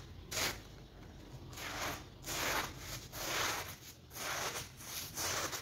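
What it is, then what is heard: Soapy woven rug being scrubbed. Gloved hands scrub a dirty, soapy woven rug with a block pattern, lying flat and covered in suds, using a hand brush across its surface. Repeated bright, wet, hissing brush strokes rise and fall over a low background rumble.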